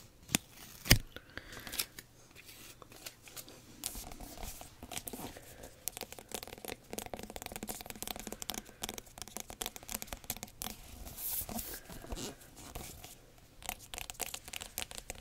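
Long nails tap and scratch the smooth, hard rind of a whole, large, firm-skinned yellow spaghetti squash. A sharp tap near the start gives way to dense, dry, crackly scratching with bright, rasping edges over a faint low hum. The sound stays quiet and steady throughout.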